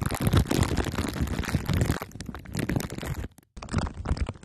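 Two glue sticks are pressed and rubbed on top of a microphone head wrapped in crumpled aluminium foil under clear plastic wrap. The result is dense, bass-heavy crackling and crunching with sticky, muffled thumps. The sound stops briefly near the end, then resumes.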